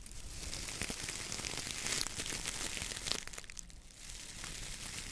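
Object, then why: Coir dish brush with wooden handle. A hand grips, squeezes and rubs the stiff coir bristles of a coconut fiber dish brush with a wooden handle. The result is a steady, bright, dry crinkling and scratching texture with irregular crackly snaps. A brief quieter dip comes near the end before the rubbing picks up again.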